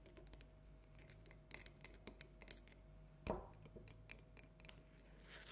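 A small hollow orange plastic light-up jack-o'-lantern with an LED is held and tapped with long natural nails in black and red polish. Quick, light, bright clicks and taps sound over a steady low hum and faint tone, with one louder, fuller knock partway through.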